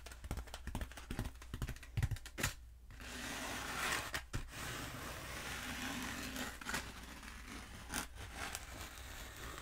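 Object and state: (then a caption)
Foam pool noodle. Long nails tap and scratch a long, black, hollow foam pool noodle held upright and at a diagonal. Quick, dry, irregular taps come first, followed by a steady, bright, rasping scratch broken by a few sharp clicks, all over a faint low hum.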